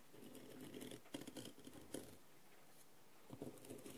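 A wooden skewer held upright taps and scratches the rhinestones of a blue, rhinestone-covered plastic masquerade mask lying on a tray. Quiet, dry clicks and gritty scratching patter along with a soft low-mid body. The scratching breaks off into a near-silent pause in the middle before a few sharper taps return.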